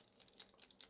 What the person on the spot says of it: You barely hear it compared to the other one. It's really a gentle sound, but you can hear it clearly.